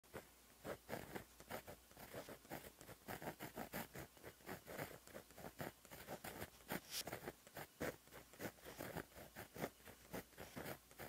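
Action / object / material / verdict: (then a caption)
scrape / gel pen tip on a paper notebook page / paper / none. A white Sakura Gelly Roll 0.8 gel pen with a fine plastic tip, held in the fingers, writes continuous handwriting strokes on a flat black lined paper page in a notebook. A quiet, dry, rhythmic scratching and pattering of the tip on the paper rises and falls with each stroke over a faint steady low hum.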